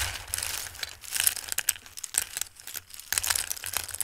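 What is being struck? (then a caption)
Handfuls of dried pasta in a bowl. Dried tricolore Christmas pasta rests in a dark bowl as hands scoop up handfuls and rub the pieces together, shuffling them. The result is a dense, bright crinkling and clattering rustle with sharp crisp ticks, bursts of activity that ease and swell again, and a faint low hum underneath.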